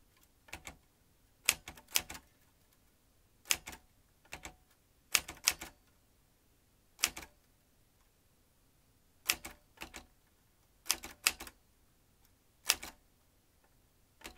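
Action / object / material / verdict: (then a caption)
tap / metal manual typewriter / metal / none. Fingertips type on the keys of a vintage metal manual typewriter, seen from the rear with its ribbon spool. Sharp, bright metallic clacks come in irregular bursts of single strikes and quick clusters, each dying away almost at once, with quiet gaps between them.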